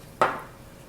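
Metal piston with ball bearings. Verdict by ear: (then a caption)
Seized. A piston with ball bearings inside, from a gearbox, is shaken to check whether the bearings rattle and can rotate. One short knock with a bright ring near 1.3 kHz fades within a fraction of a second, and no bearing rattle follows. The bearings are present but lodged too tightly to move.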